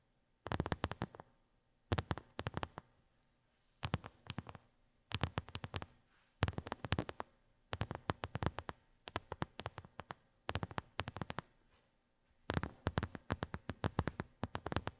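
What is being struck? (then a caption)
Silicone phone case. Long nails tap and scratch a small, hollow white silicone phone case with raised square bumps, using both hands. Quick bursts of dry, clicky taps come in clusters separated by short pauses. Each tap dies away almost at once, with a soft low thump under bright clicking edges.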